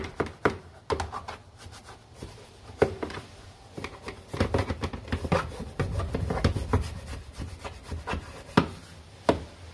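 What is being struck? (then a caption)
Molded plastic car interior door panel. A gloved hand scrubs the lower area and armrest of a large, hollow, molded plastic interior door panel with foam on a very dirty Honda using a small bristle brush. The rough, brushy scrubbing is broken by sharp, dry knocks and taps that die away almost at once. Much of the sound sits in a low, hollow thump from the panel.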